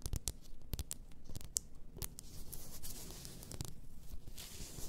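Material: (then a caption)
Glass. Long nails tap and scratch the sides of a large champagne-shaped bottle, apparently glass, with a paper label and filled with pink bath salt crystals. Quick, sharp clicks cut through a steady, bright scratching texture. Each tap dies away almost instantly.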